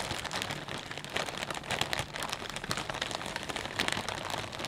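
Fingertips squeeze and crumple a clear plastic bag full of potato chips. The result is a steady, dense, bright crinkling with sharp crackles popping out over a faint low rumble.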